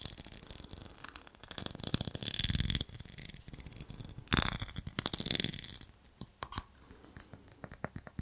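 A small, clear, empty ribbed glass jar, hollow and held in the hands, is tapped and scratched with fingernails on its side and base. Bursts of dry, bright scratching over the ridges alternate with sharp, high glassy clinks that die away almost instantly. The sequence ends with a few separate taps.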